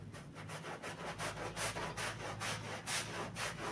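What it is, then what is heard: Wet pile carpet being scrubbed. A gloved hand scrubs a wet black-and-red pile rug covered in soap foam with a handheld stiff bristle brush. Rhythmic, bright, hissing brush strokes swish back and forth over a steady low hum.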